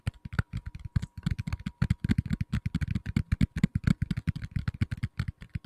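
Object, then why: Tablet in a plastic case. A medium-size black tablet in a plastic case is tapped rapidly with fingertips on the back. The dry, dull taps land in quick, uneven bursts and stop almost at once, with most of their energy low and a faint steady tone underneath.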